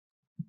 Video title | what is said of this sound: 2020 Virtual HLP Talent Show 達人秀: Even Elaine Can Bake Bread | you tap it, you hear it Beautiful